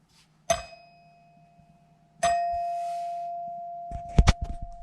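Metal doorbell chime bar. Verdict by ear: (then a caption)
Mechanical. With the cover taken off a mechanical doorbell chime, its real metal bell is flicked by hand twice. Each flick gives a bright clang that settles into a long, steady ringing tone around 700 Hz over a low hum, followed by a few sharp clicks. The clang confirms it is a mechanical chime, not a digital one, so no diode is needed.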